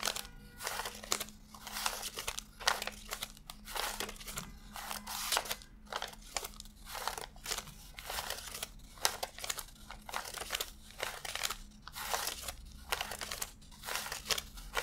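Fingertips flick and rub individual thin US $100 paper bills one by one while counting a stack fanned out on a desk. Each pass makes a crisp, bright crinkling rustle, and the rustles repeat in quick, steady bursts. A faint, steady low hum sits underneath.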